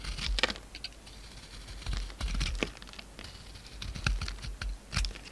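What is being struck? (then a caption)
Bar of soap with a thin coating, cut by a blade. A utility knife carves the gold coating off a solid oval soap bar with an embossed surface and a pink interior, held in the hand. Quick, dry scraping clicks and crisp crackles come in irregular bursts with soft scratching between them, each stroke bright and stopping short with no ring.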